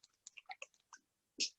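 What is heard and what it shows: An aerosol dry shampoo can, never used before, is shaken so its mixing ball rattles with a "paint can sound," giving about seven short, bright clicking rattles over 1.6 seconds. The last and loudest comes after a brief pause, and the rattle shows the product is ready to use.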